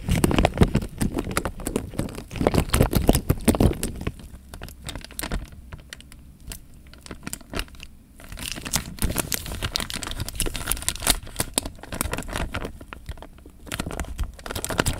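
Fingertips crinkle and squeeze a clear, thin plastic bag filled with water, making dense, irregular crackles and rustles while the water sloshes low underneath. The crinkling is loudest for the first few seconds, drops to soft, sparse ticks in the middle, then builds back into steady bright crackling to the end.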